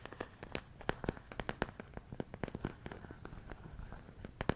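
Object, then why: Plastic food container with rice. A medium clear plastic storage container full of rice grains is tapped and scratched with fingertips and nails. A quick, irregular series of dry, sharp clicks and light scrapes with a soft rustle underneath, each tap dying away at once.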